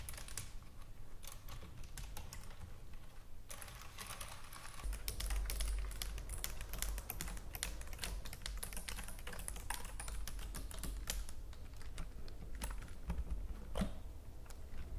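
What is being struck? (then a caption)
Plastic computer keyboard. Long nails and fingertips on gem-decorated hands tap and type rapidly on a white full-size computer keyboard with plastic keys. A dense, continuous stream of crisp, bright plastic clicks and clatters runs throughout. A low steady hum sits underneath and grows louder from about five seconds on.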